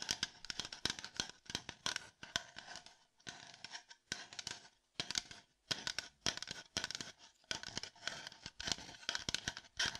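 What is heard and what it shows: Fingertips tap and scratch a hollow, empty red plastic cup held upside down, making a rapid run of dry, bright clicks and scrapes. Short bursts of quick taps are broken by brief pauses, and each hit dies away almost at once with little low-end body.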